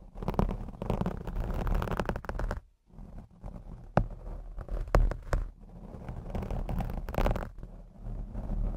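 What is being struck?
Foam microphone windscreen.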